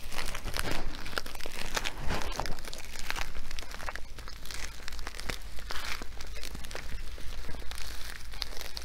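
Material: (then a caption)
Nylon fabric. A filled blue nylon sandbag with sewn compartments and black trim is held in both hands and scratched and crinkled with nails and fingertips. The result is a dense, continuous run of dry crinkling and scratching with quick bright ticks, sitting over a steady low hum.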